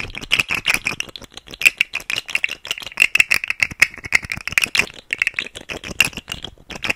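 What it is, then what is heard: Plastic articulated fidget slug toy. A rainbow segmented plastic fidget slug toy with hollow nested segments is held upright close to the mic and twisted and wiggled by fingers, producing rapid, dry clicking rattles. The clicks are bright and sharp, centred around 2 kHz with almost no low end, arriving in quick irregular bursts for about seven seconds.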